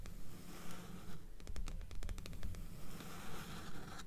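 Long nails on both hands scratch and tap the cover of a dark blue paperback book resting on top of a stack of books. Soft, dry scraping gives way midway to a quick run of sharp, clicky taps before the scratching returns, all over a low, steady rumble.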